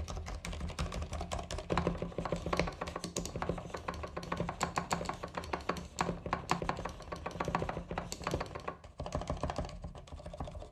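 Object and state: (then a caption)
Plastic mechanical keyboard. Fingertips type rapidly on a compact white mechanical keyboard with plastic keycaps and a coiled cable, pressing the keys and the spacebar. The result is a dense, continuous run of short, sharp plastic clicks and clacks with a few louder strikes, over a steady low hum near 170 Hz.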